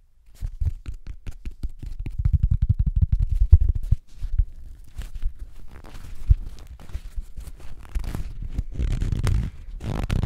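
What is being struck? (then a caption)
Cellulose sponge. Fingertips scratch, squeeze and rub the surface of a flat, rectangular, yellow, porous cellulose sponge that looks dry and is held in both hands above the microphone. It makes a dense run of short, dull scratching and crackling bursts, heavy in the low end with faint high grit. The rubbing grows busier and rougher toward the end.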